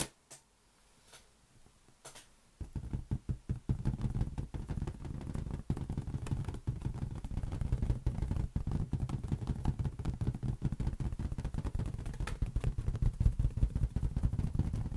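A large, hollow, air-filled green latex balloon is held in one hand and tapped with the fingertips. After a couple of seconds of near silence with a few faint taps, a rapid, uneven stream of soft, deep, drum-like thumps begins. The thumps stay dull and low with almost no bright content, each dying away at once.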